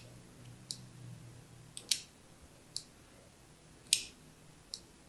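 A thin needle tool scratches fine lines across a hand-held blue and white striped solid soap bar. Six short, bright, scratchy clicks come at an uneven pace, each dying away almost at once. A faint low hum runs underneath.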